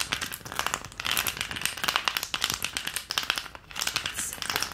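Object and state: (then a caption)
Plastic ice cube tray, tapped. A long, rigid green plastic ice cube tray with round cavities, empty and held upright, is tapped rapidly with long painted nails. The result is a fast, continuous run of sharp, bright clicks with almost no low end and very short ring.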